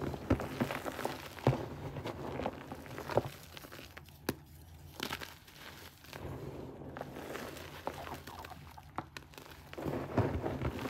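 Both hands scoop, squeeze and crush a pile of grey powdered gym chalk (magnesium carbonate) with small lumps resting on a flat base, rubbing it between the palms. Soft crunching and crumbling crackles come in irregular bursts, with sharper crunches standing out over a low, muffled background. The sound stays quiet overall, with little high-end brightness.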